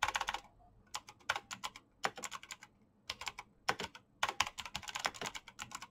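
Fingertips tap the keycaps of a black plastic mechanical keyboard with clicky switches at a moderate pace. Bursts of short, bright clicks with very little ring come in quick runs separated by brief pauses.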